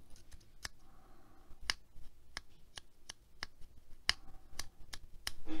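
A small coral plastic hair claw clip with gold metal teeth is held in the hand while long nails tap and scratch its metal teeth and plastic. About eleven sharp, bright clicks sound with faint scratching between them.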